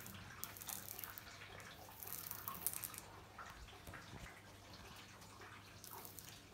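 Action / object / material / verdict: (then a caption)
tap / glazed ceramic wall tiles tapped and scratched with fingernails / glazed ceramic / none. Long nails tap and scratch across white glazed ceramic bathroom wall tiles with a mosaic border, including the grout. Quiet, crisp high-pitched clicks and dry scratching rasps come in short bursts over a faint low hum, loudest in the first three seconds and then softer.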